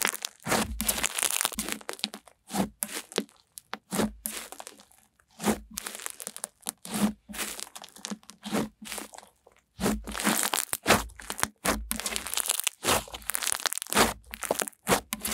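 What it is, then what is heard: Snow slime. A soft, solid, hand-sized white snow slime with a flaky snow texture is pressed flat with fingertips and long nails, then squeezed between the fists. It gives off bursts of dense, bright crunching and crackling, separated by brief quiet gaps.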